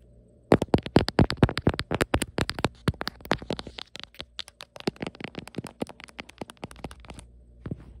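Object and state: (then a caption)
Ribbed silicone phone case. Long nails tap and scratch the ribbed back of a beige silicone phone case with horizontal ribs and a heart-shaped camera cutout, fitted on a phone. A rapid, uneven flurry of short, dry clicks and scraping ticks runs from about half a second in to just past seven seconds, with one last tap near the end.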